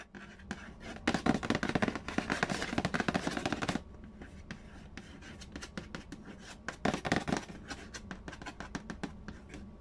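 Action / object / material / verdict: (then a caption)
tap / cardboard board game box lid / cardboard / none. Fingertips tap and trace over the printed lid of a large, hollow cardboard Payday board game box. Rapid, dense dry tapping and scratching comes in louder bursts early on and again near the seventh second, with softer scratchy tracing in between and a short, muffled hollow thud to each tap.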